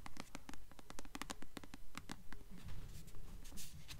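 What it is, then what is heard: Paperback book cover tapped and scratched with nails. Long nails rapidly tap and scratch the glossy paper cover of a solid blue paperback copy of the novel "Delirium" held upright. Quick, crisp clicks with a dull low thump come in a steady run for about two and a half seconds, then give way to soft, brushy scratching strokes across the cover.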